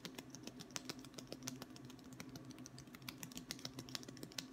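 A long, thin, solid wooden ruler is held in one hand and tapped along its face with the fingertips of the other, its far end possibly resting on a wooden table. Quick, irregular, dry taps with bright clicky tops and almost no ring sound over a steady low hum. The result is a soft, rapid patter that sounds much like typing on a keyboard.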